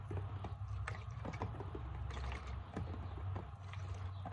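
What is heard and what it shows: Long painted nails tap and scratch the label and sides of a hand-held, medium translucent plastic Equate isopropyl alcohol bottle with a screw cap, hollow and partly filled with liquid. Quick, light clicks and scrapes sit over a steady low hum. The taps are short and dry, with only a brief ring.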